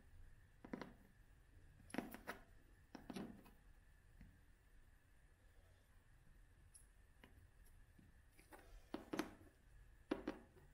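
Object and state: Cloth-covered hardcover book.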